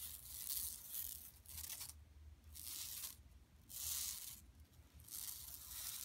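Long nails scratch across a large, flat, empty yellow woven plastic mesh tote bag lying on carpet. Repeated bursts of bright, dry, raspy scratching rise and fade at an uneven pace. A faint low hum runs steadily underneath.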